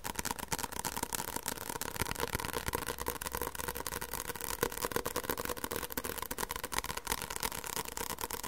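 Fingertips tap and lightly scratch the cover of a white softcover paperback book held close to the microphone. Quick, uneven taps make crisp dry clicks over a continuous scratchy rustle, with a faint steady low hum underneath.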